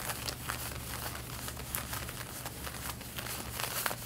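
Long red-painted nails scratch the front pocket area of light blue denim jeans being worn. The result is a steady run of dry, raspy scratching with bright, crinkly bursts over a constant low hum.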